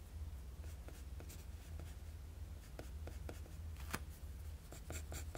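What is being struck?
Graphite pencil on a sheet of drawing paper.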